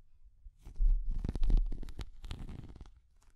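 Long nails tap and scratch a small, translucent orange, hard plastic cat figure. The result is a run of soft, muffled taps and rustling scrapes, heavy in low rumble with faint bright clicks on top, fading out at the end.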